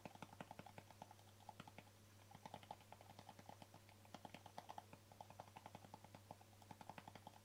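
Fingertips and nails tap the top and rim of a small, hollow white plastic jar with an embossed screw lid and a green label. The result is a quick, uneven run of short, dry clicks with a hollow tone around 844 Hz, each dying away almost at once. A steady low hum sits underneath.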